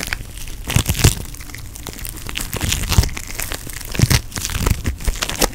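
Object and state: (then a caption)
Foam bead putty being squeezed. Pink floam putty, made of foam beads in putty, is pinched and squeezed with fingertips and thumb. A continuous run of small crinkling, crunching pops and crackles is heard, with brief bright snaps and soft low thumps throughout.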